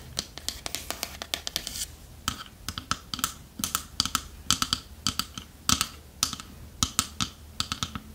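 Long nails tap rapidly on the wooden sides of a small, hollow, dark wooden treasure chest with metal fittings, held sideways. The result is a quick, uneven run of crisp, bright clicks that die away almost instantly, over a faint low hum.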